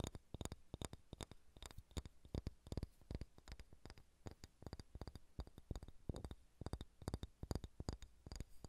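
Fingernails tap and scratch on a solid ball of pale pine wood. The result is a quiet, rapid string of short, dull thuds with little ring, each carrying a faint bright click, and soft scratching in the gaps between taps.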